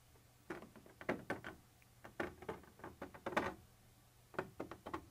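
A thin metal pointer tip scratches across a white translucent textured plastic surface. The result is a series of short, dry, raspy scrapes in uneven bursts with brief pauses, centered in the midrange with some brighter grit. The scrapes die away almost at once over a faint low hum.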